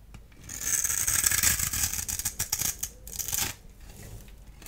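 A solid blue-and-white striped dry soap bar, held in the hand, is shaved and scored with a small blade tool. A long, bright, hissing scrape fills the first half, followed by a run of shorter, choppy scratching strokes. It trails off into quiet rustling.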